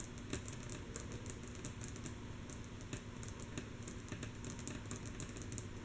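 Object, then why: Wooden tabletop. Long natural nails of both hands tap rhythmically and softly on a flat, solid, light wooden tabletop. A steady stream of quick, bright clicks with short, dry decays sits over a quiet, low background rumble.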